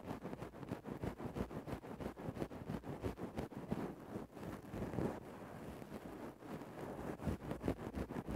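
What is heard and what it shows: A thin bamboo stick scratches and pokes into a grey synthetic-fur microphone windscreen. The result is a dense, muffled, low-heavy rustling and crackling, with quick, irregular strokes about three per second and almost no bright high end. A brief quieter dip near the middle breaks the steady scratching.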